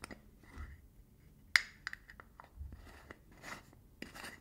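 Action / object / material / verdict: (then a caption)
scrape / small metal screw lid on a tin / metal / none. Fingertips and nails scratch and rub the blue metal screw lid and its ridged edge on a small cylindrical got2b hair product tin held in one hand. Quiet, close scraping and rubbing is broken by a few sharp metallic clicks that ring briefly with a bright tone near 2 kHz.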